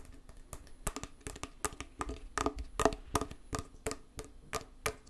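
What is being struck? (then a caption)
Small metal tin lid. A small, closed, round metal tin of Hand Gum putty with a printed paper label on its lid is held in one hand while long nails and fingertips tap and scratch the lid. The result is a quiet, irregular run of sharp, clicky taps, each with a brief metallic ring, with light scratchy rustling in between.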